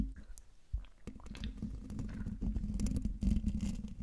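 Fingertips and long nails of both hands scratch the hollow metal mesh grille of a silver Blue Yeti microphone. The result is a close, dense, irregular scratching with a heavy low rumble and brief bright crackles. It grows slightly louder toward the end.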